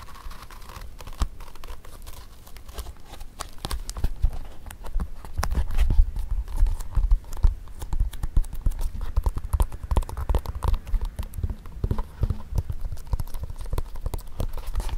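Fingertips tap and scratch the upper and sole edge of a single empty black leather Mary Jane shoe with a strap, held on its side over carpet. A dense stream of quick, dull, low-pitched taps mixed with soft scratching grows busier and louder after the first few seconds, with each tap dying away almost instantly.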